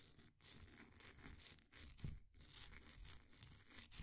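The edge of a flat wooden popsicle stick scrapes across the surface of a solid, green, ball-sized bath bomb of compressed powder held in a blue plastic ring holder. The result is a quiet, continuous gritty scraping with a dull low body and faint bright crumbly texture, broken by a few brief pauses between strokes.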